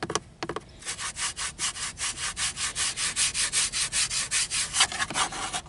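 Fingernails tap and scratch along the edge of a grey, textured, hollow molded plastic hood over a car's instrument cluster. A few quick taps open into a steady rhythm of around nineteen short, bright, rasping scrape strokes at about two and a half per second, with almost no low end.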